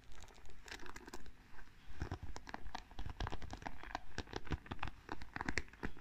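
Fingertips and long nails brush and flick over the wooden pins of a small wooden paddle hairbrush. The result is a quiet, steady patter of dry, scratchy clicks and ticks, each dying away almost at once, over a soft low rumble.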